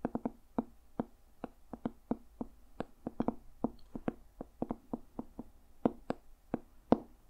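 A medium hardcover journal with a dark red leather cover and a brass owl emblem, solid, is held close and tapped with fingertips and nails. There are 29 short, dry, irregular taps, each with a soft thud centred around 250 Hz, a crisp clicky edge, and almost no ring. The taps stand apart over a quiet background.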